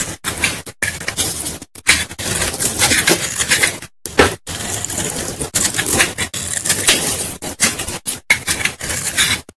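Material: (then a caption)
Soap. A metal knife blade scrapes and shaves along a solid, palm-sized white bar of Lifebuoy soap held in the fingers over a bowl of soap shavings, cutting off white powdery flakes. Bright, crackly scraping strokes come in quick bursts separated by brief silences, with most of the energy in the high range and little low end.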